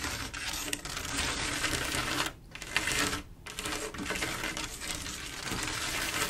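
Long acrylic nails tap rapidly across a large, solid, flat panel of silver mirror-like glass mosaic tiles. The result is a dense stream of bright, crisp clicks and light ticks, with two brief dips in the tapping about two and three seconds in.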